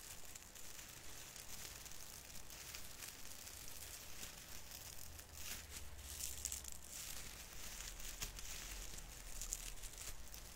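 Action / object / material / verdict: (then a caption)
scrape / artificial tree branches with plastic needles / plastic / none. A hand strokes and pinches the plastic needle tips of a small artificial fir Christmas tree's branches, crinkling them. A steady, dry, bright crinkling and rustling runs throughout with brief sharp crackles, over a low rumble.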